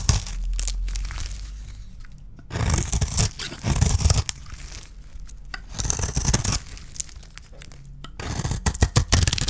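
A small metal blade shaves a solid, hand-sized yellow bar of dry soap into thin curls. Crisp, tearing scrapes come in bursts, with bright crackle over a steady low rumble and short pauses between strokes.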